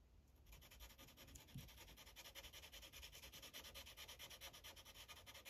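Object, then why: Felt-tip marker on a paper sheet on a hard clipboard. A yellow felt-tip Sharpie marker rubs over a thin printed paper coloring page on a hard clipboard in short back-and-forth strokes. This produces a steady, rhythmic scratchy rasp that is bright and papery. The strokes pulse quickly and evenly, with a faint low thump underneath.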